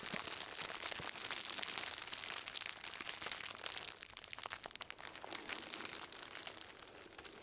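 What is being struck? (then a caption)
Plastic bag wrapped package. A black plastic-wrapped bundle is held in both hands and crinkled and squeezed with the fingers. A dense, continuous crinkling and crackling is heard, bright and high with almost no low end, easing slightly after the first half.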